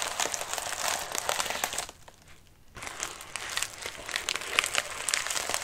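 Fingertips scratch the wrinkled surface of a medium white padded mailer resting on a lap, making dense, bright crinkling and crackling with little low end. The scratching briefly drops to near silence just before the three-second mark, then resumes with sharper crinkles to the end.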